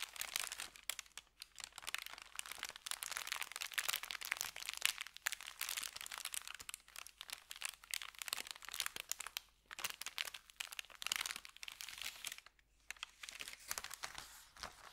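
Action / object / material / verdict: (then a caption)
scrape / thin kraft paper bag / paper / none. Fingertips rub and crinkle an empty, flat, thin kraft paper bakery bag and lift its edge. The result is a dense, bright, crackling rustle with almost no low end, swelling and easing in quiet bursts throughout.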